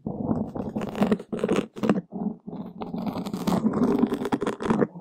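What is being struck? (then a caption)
Open-cell foam windscreen scratched with wooden sticks. One or two thin wooden skewers slowly scratch and poke a large, soft, porous black open-cell foam windscreen over a microphone. The result is a dense, muffled scraping and crackling rumble, mostly low-mid in tone, in uneven bursts separated by brief near-silent gaps.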